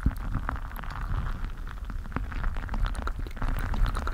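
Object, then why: Mesh stress ball filled with water gel beads. A full, palm-sized squishy stress ball filled with colorful water gel beads inside a mesh/rubber skin is squeezed and rubbed with fingers on the microphone. It produces a continuous low, rumbling squelch, dense with short wet pops and crackles and brighter clicks scattered on top. The sound stays close, muffled and steady throughout.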